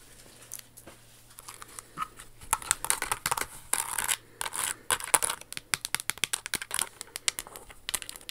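A hollow, pink crystal-studded Jimmy Choo stiletto pump with a crystal flower on the toe is held in the hands and tapped and scratched with long acrylic nails. Dense runs of sharp, bright clicks and ticks are mixed with short, hissy scratching bursts, each dying away almost instantly.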